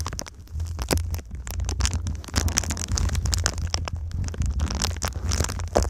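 Long nails and fingertips tap and scratch the surface of a silver foil-faced foam insulation sheet bent into a V shape. Dense, quick crackly taps and scraping rasps with bright edges play over a steady low hum throughout.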